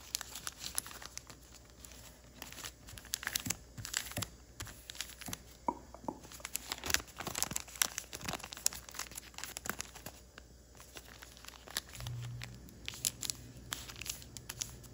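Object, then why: Thin origami paper sheet. A small folded piece of thin patterned origami paper is creased and crinkled by fingertips and nails as it is folded into a paper crane, with the paper rubbing against itself. Dense, bright, crisp crackles and short dry snaps come in quick irregular bursts over a quiet, steady low hum, with a brief low swell near the end.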